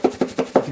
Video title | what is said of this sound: We Cooking | You can hear that chunk of onion powder just clack against the sides of this.